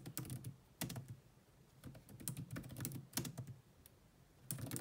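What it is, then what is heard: Plastic laptop keyboard being typed on. Fast typing with long manicured nails and fingertips on the dark plastic chiclet keys of a grey laptop with a hollow body. Quick bursts of bright, clicky taps sit over a low hollow thump, separated by short quiet pauses in an irregular rhythm.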